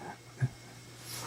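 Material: Nothing is struck.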